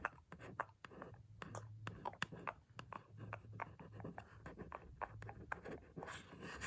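A single long, pointed red nail scratches and taps across the white printed surface of a cardboard lamp box. It makes a quiet, rapid series of short, dry taps and clicks with soft scratching between them and no ring afterward.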